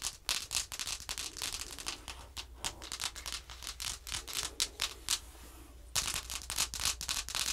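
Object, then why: Thin laminated cardboard card scratched and tapped with fingernails. Long manicured nails scratch and tap along the lower edge and surface of a thin laminated cardboard flash card showing the number four and horse pictures, lying flat on a wooden table. Quick, bright, dry scratching strokes come in an irregular rhythm of about three to four per second. A softer, smoother rub fills a brief stretch near the end before the sharp scratching resumes.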